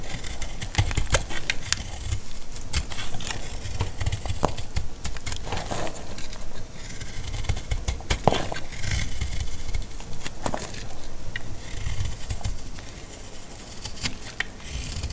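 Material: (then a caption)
Soap. A solid, dry orange laundry soap bar is carved and scraped with a metal utility knife blade. Many short, crisp cuts and scrapes follow one another over a steady low rumble, with occasional brighter clicks as the blade catches.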